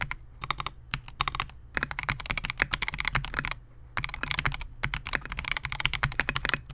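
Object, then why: Mechanical keyboard with polycarbonate case and plastic keycaps. Fingertips of both hands type continuously on a compact 68-key Melgeek MOJO68 mechanical keyboard with Gateron G Pro silver switches, a clear polycarbonate case and SA-profile plastic keycaps, resting on a desk mat. Rapid, bright, clacky keystrokes with a low, thocky undertone come in quick bursts, with a brief pause near the middle before the typing resumes.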